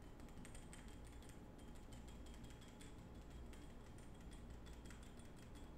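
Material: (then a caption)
Glass. Fingertips and short nails rapidly tap and scratch the patterned surface of a small, ornate, textured glass perfume bottle with a gold cap, held in both hands. Quick, bright clicks and scratchy ticks sit over a steady, quiet low rumble that continues throughout.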